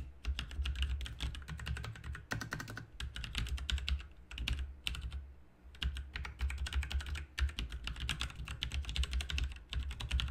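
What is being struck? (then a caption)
Plastic mechanical keyboard keys. Fast, dense two-handed fingertip typing on a full-size RGB mechanical keyboard with plastic keycaps resting on a desk mat. It produces a steady stream of sharp, bright keystroke clicks over a deep low thump, with brief pauses between bursts.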